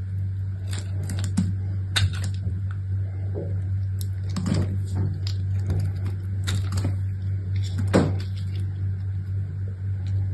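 A solid rectangular bar of soap with brown, white and purple stripes, held in one long-nailed hand, is carved and scraped with an orange utility knife blade. Short, crisp scraping and cutting strokes crackle brightly over a steady low hum.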